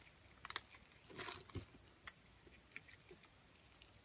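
A metal blade scrapes a solid, hand-sized purple striped bar of soap held in the palm, breaking off small cubes. Quiet, crisp, bright scraping and crumbling clicks come in short separate bursts, with one longer rasping scrape partway through.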